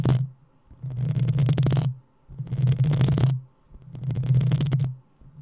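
Long acrylic nails of both hands scratch the rounded, hollow metal mesh grille of a black USB condenser microphone. The scratching comes in about four sustained bursts, each a boomy low rumble under bright, crackly scraping, separated by short near-silent pauses.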